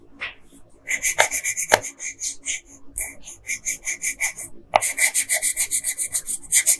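A yellow colored pencil is rubbed in quick back-and-forth strokes on a flat paper coloring page near the figure's head. About 31 dry, bright, scratchy strokes come in steady bursts with a short pause midway. Each stroke is short and rasping, with almost no low end and no ring.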